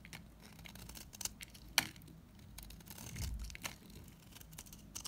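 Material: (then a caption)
Soap. A solid lilac bar soap is scraped and chipped with a utility knife blade, giving quiet, dry scratching rasps with bright crisp clicks as flakes break off. One sharp snap stands out near the two-second mark, with a low rumbling scrape following it.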